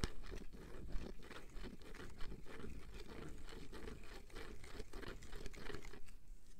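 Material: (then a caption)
Plastic. A medium white plastic cream jar with a screw lid and a paper label is tapped and scratched with long fingernails, possibly crinkling the label. A quiet, steady run of short, dry crunchy taps and scratchy rustles sits over a low rumble, and each tap dies away almost at once.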